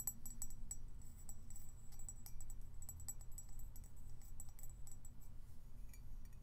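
A colourful floral-patterned ceramic mug with a white base and interior, hollow and held in the hands, is tapped with fingernails on its side and bottom. Quick, light clicking taps and bright little clinks come in a steady flurry over a low, constant rumble.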